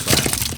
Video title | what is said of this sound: I made this popular Cheesecake Factory dish --- But crispier!!! | you can actually hear how crispy the cauliflower turned out